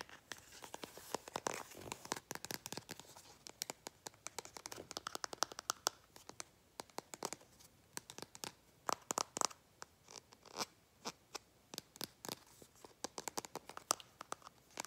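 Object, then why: Small plastic paint bottle with cap. Long painted fingernails tap and scratch a small plastic bottle of acrylic craft paint with a cap. Dozens of quick, dry, bright clicks and scratchy rasps come in irregular bursts, with almost no low end. Each tap dies away instantly.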